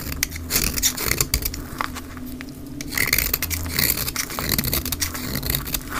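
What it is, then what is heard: Dry soap bar shaved with a knife. A solid, dry olive-green soap bar is shaved along its edge with a utility knife blade, played at double speed. Dense, crisp scraping and bright scratchy strokes sound over a steady low hum as fine shavings and flakes come away.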